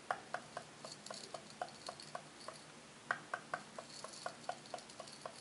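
Long red-painted fingernails scratch and flick the brass wire bristles of a small handheld brush set in a light wooden block, held close. About eighteen short, crisp metallic ticks and plucks fall in an uneven rhythm. Each one snaps off almost instantly, with a bright, high shimmer over a faint scratchy hiss.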